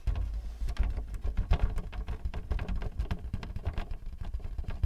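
Both hands hold the thin white plastic paper-support flap standing up on a Canon printer while fingertips tap rapidly on its face, with the hollow printer body below. The result is a dense, fast patter of soft, dull taps with a low hollow thump. Each tap dies away almost instantly.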